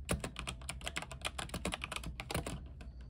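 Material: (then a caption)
Plastic. Both hands type fast with their fingertips on a full-size RGB-backlit mechanical keyboard with white plastic keycaps on a silver aluminium frame, resting on a desk. Around twenty quick, bright, clacky keystrokes rattle out in an uneven stream over a steady low hum. The typing stops just before the end, leaving only the hum.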